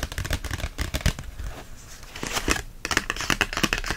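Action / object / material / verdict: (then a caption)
tap / book, paper and cardboard / paper / none. A book made of paper and cardboard is tapped repeatedly, giving quick, dry, papery taps that die away almost instantly. The tapping grows quieter and softer through the middle of the clip, then returns to brisk, crisp taps toward the end.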